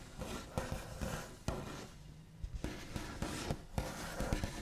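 The backs of fingernails rub, trace and tap across a large, flat, solid wooden tabletop with a smooth white finish. Soft, scratchy rubbing runs throughout, broken by a few short, dull taps that die away quickly. The sound is quiet and weighted toward the low end.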